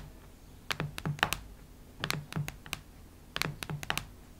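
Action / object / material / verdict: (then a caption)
tap / cardboard hardcover notebook / cardboard / none. Long red nails tap and scratch the cardboard cover of a cactus-print hardcover notebook lying flat, making sixteen quick, crisp clicks in three short bursts. Each tap is dry and brief with a low thud underneath and a bright, sharp edge, separated by quiet pauses.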